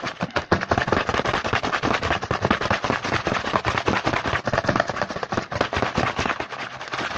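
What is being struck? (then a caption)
Small printed cardboard box. Fingertips rapidly tap and scratch the front of a small printed cardboard Hanuta snack box held in the hand. A dense, fast stream of dry, crackly taps and scrapes runs continuously for the whole clip, with little ring after each tap, sounding almost like rapid popping.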